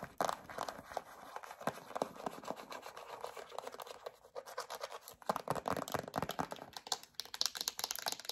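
Long acrylic nails scratch rapidly over a yellow plastic hand cream tube with a black cap, making a dense, dry, bright scratching and crinkling texture. It runs almost continuously, with brief quieter gaps near the middle, and each stroke dies away at once with no ring.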